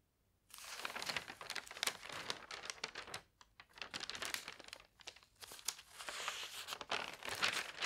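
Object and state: Newspaper pages being handled.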